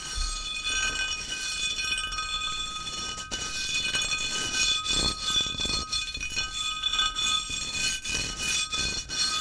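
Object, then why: Ceramic mosaic tile sheet. A small, flat, solid square sheet of white ceramic mosaic tiles with a grid of grooves is held tilted in one hand and tapped with the fingertips of the other. The result is a quick, irregular stream of bright, glassy clinks over a steady high ringing tone near 3.5 kHz, each tap fading within about a fifth of a second.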